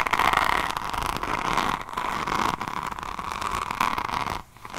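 Long nails scratch a diamond painting notebook with a resin rhinestone cover, first across the beaded cover, then along the spine and page edge. The result is a dense, continuous crackly scratching with a bright band around 1 kHz, small dips in level, and a brief quiet gap near the end before the scratching resumes.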